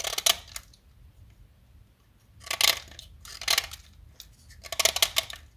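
A small solid yellow blackboard chalk stick, held in fingers with long nails, is carved with a metal utility-knife blade. Four short bursts of dry, bright scraping and cutting stand out against near silence, with fine crackly grit in the high end and very little low end.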